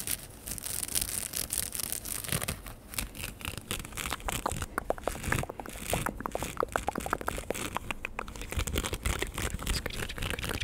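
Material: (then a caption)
Straw. Fingertips and nails scratch and rub the open-weave crown and brim of a large, wide-brimmed woven straw sun hat, hollow and light, held up and worn on the head near a fluffy microphone. The result is a steady stream of quick, crinkly scratching sounds with short, dry clicks and bright rustle over a low rumble.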